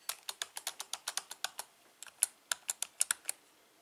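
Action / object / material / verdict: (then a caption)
tap / plastic computer keyboard / plastic / none. Fingertips type rapidly on the right-side keys and letter keys of a full-size black plastic membrane keyboard with a hollow housing. About 20 short, bright plastic clicks are heard in a quick run, with a brief pause partway through. Each click dies away almost instantly.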